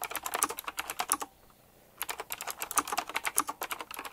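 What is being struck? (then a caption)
Retro typewriter-style mechanical keyboard with round plastic keycaps. Fast, dense fingertip typing on a retro typewriter-style mechanical keyboard with round plastic keycaps set in chrome rings produces a rapid stream of sharp, bright clicks and clacks. The clicks stop briefly for a moment of near silence, then resume at the same quick pace.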